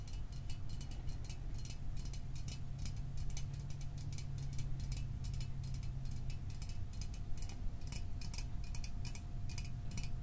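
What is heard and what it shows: A small aluminum Fanta soda can is held in the hands and tapped with fingernails on its body and rim. The result is a steady stream of quick, light, crisp ticks that stop dead, over a constant low hum.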